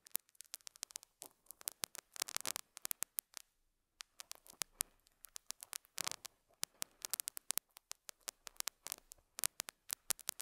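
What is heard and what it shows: A metal dental scaler hook scratches and picks at a small square beige felt pad on a lapel mic. It makes rapid, dry, bright scratching clicks and crackles with almost no low end. The bursts come in quick clusters, with a brief pause just before the four-second mark.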